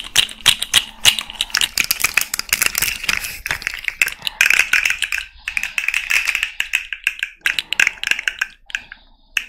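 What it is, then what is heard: Plastic articulated fidget toy being tapped and flexed. A small rainbow fidget slug toy made of hollow, jointed plastic segments is tapped rapidly with long red nails and its segments are flexed. The result is a dense, uneven stream of sharp, bright plastic clicks and taps that die away almost instantly, with brief quiet gaps between bursts.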